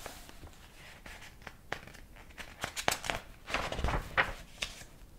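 Fingertips turn the yellowed paper pages of a large old hardcover book with a dark cover and some illustrated pages. Soft paper rubs and flaps come in irregular, crisp bursts that grow louder and more frequent toward the middle and end.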